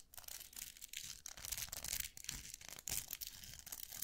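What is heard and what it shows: Fingertips flick and scratch the plastic bristles of a round styling brush with a metal barrel. The result is a quiet, bright, hissy scratching made of quick rasping bursts that rise and fall, with little low end and no ringing tail.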